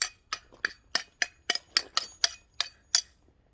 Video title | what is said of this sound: Your Queer Relative: Swords, Because I Like Them | Do you hear that loud ting sound?